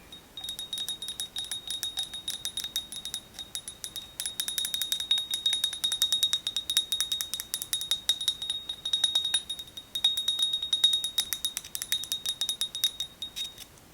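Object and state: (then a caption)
Ceramic mug. Fingernails tap rapidly and continuously on a ceramic Hello Kitty mug decorated with Sakura flowers in her hair and her little teddy bear. Each tap gives a bright, chime-like ring pitched high around 3.7 kHz that fades quickly, with no low-end body to the sound.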